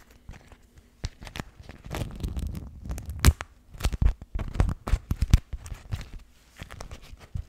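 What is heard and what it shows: A pink floral beeswax-coated cotton food wrap, a thin waxed fabric sheet held close to the mic, is folded, crinkled and rubbed by fingertips. Sharp, dry crackles and crinkles come in quick bursts over soft rustling, with a thick low-end weight from the close handling. The loudest snaps cluster in the middle before easing back to quieter rustles.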